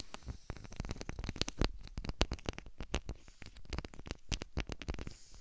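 A clear plastic bubble wrap sheet with large, hollow air-filled bubbles, wrapped around a 3Dio binaural microphone, is pressed and scratched by the fingertips and long painted nails of both hands. The result is a dense stream of quick, dry crackles and taps with a deep, muffled low thump beneath, rapid and uneven throughout.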